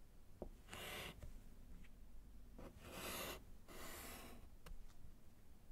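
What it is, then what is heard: Chalk writing on a wood-framed slate board. A gloved hand writes with yellow chalk on a small solid slate chalkboard in a wooden frame. Three longer, bright scratching strokes alternate with short, sharp chalk ticks and taps over a low, quiet background.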